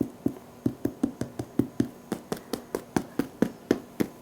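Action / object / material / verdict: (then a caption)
knock / baked spelt sourdough loaf crust / bread crust / hollow. Seventeen quick, dry knocks on the crust of a baked spelt sourdough loaf. Each produces a short, hollow thump around 280 Hz that dies away almost immediately, showing a crisp crust.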